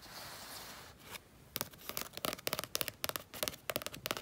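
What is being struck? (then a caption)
Painted sheet of thick paper. A fingertip and painted fingernail scratch and tap along a sunset-and-mountains painting on a flat sheet of mixed-media paper lying on a fleece blanket. A soft, hissy scratch across the painted surface fades after about a second, followed by a rapid, irregular run of sharp, dry clicking taps with almost no ring.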